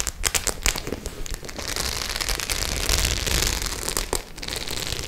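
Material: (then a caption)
Faux leather. Long nails scratch over the studded surface of a white faux-leather clutch bag, giving a dense run of crisp, bright scratching and clicking. Sharp ticks come in an uneven burst at the start and again near the end, with steadier grating between them.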